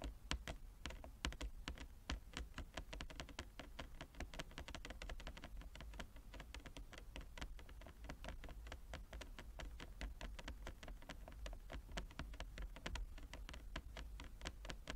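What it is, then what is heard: Wooden chess board. Long fingernails tap rapidly with both hands across a large, flat wooden chess board with inlaid squares. The result is a dense, continuous patter of short, bright clicks that die away quickly, over a steady low hum at a quiet level.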